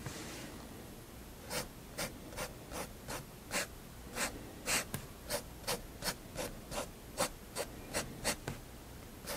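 A fineliner pen tip strokes and hatches across a page of a large spiral-bound paper sketchbook lying flat on a wooden desk. After a soft, airy start, a series of short, dry, bright scratches repeats in a quick, steady rhythm over a faint hiss.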